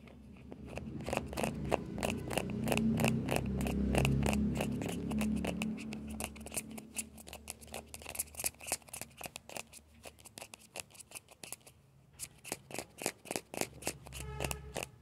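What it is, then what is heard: Hollow plastic ball. Fingertips and nails scratch the shell of a small hollow orange plastic ball with a yellow stripe. Rapid, fairly regular dry scratches and taps, about four per second, have bright, crisp edges over a low rumble that swells in the first half. They then thin out into sharper, separate ticks toward the end.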